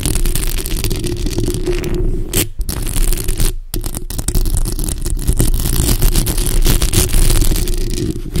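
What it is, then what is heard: Metal mesh microphone grille being scratched. Long acrylic nails scratch the sides and lower part of the hollow metal mesh grille on a bare black microphone. The result is a continuous, dense, rough scraping with a heavy low-frequency rumble, broken by two brief drops near the middle.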